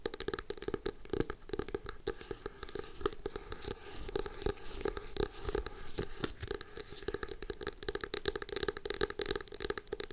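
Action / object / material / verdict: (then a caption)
tap / hardcover notebook cover / cardboard / none. Long acrylic nails rapidly tap and scratch the front of a navy hardcover notebook with a glossy starry cover, held in both hands. The result is a dense stream of short, dry clicks layered with bright scraping, with a faint hollow tone from the board under the cover.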